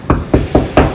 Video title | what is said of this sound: Interior Plaster one coat game changer? | it wouldn't sound hollow like this I can hear the sheetrock underneath